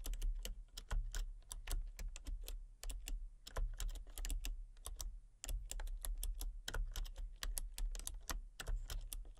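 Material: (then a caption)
Plastic. Fingertips and long painted nails type rapidly on a full-size, backlit plastic RGB computer keyboard with hollow key switches and colour-cycling lights. The result is a steady stream of sharp, bright clicks and clacks with short pauses between bursts. A constant low hum sits underneath.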